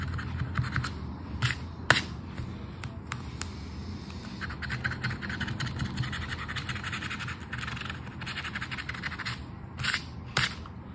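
The coating of a flat paper Aranha da Sorte scratch card is scraped with the edge of a red and gold token. A steady, gritty scratching runs throughout over a low rumble, broken by a few sharper, brighter scrapes.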